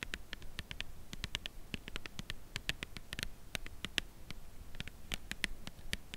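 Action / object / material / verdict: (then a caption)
tap / cardboard chocolate bar box / cardboard / none. Long nails tap quickly on the front of a full cardboard chocolate bar box held at an angle. The result is a steady run of short, dry, bright clicks with almost no ring, over a low background rumble.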